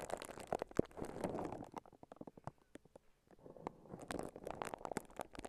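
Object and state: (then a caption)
Plastic cling wrap being crinkled. Fingertips and long nails scratch and crinkle clear plastic cling wrap wrapped around a handheld-sized microphone, which is not hollow. Soft, dense crinkling and crackling is broken by sharp clicks and taps, thins to sparse isolated ticks in the middle, then builds back into steady rustling. The sound stays quiet and close throughout.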